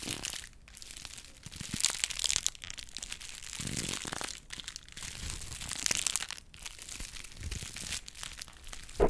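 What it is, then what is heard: Honeycomb kraft paper being crushed. A hollow cup of brown honeycomb kraft paper wrap is squeezed and crushed by hand. Dense, bright crinkling and crackling runs almost continuously, with a few brief pauses, and ends in a sharper crunch.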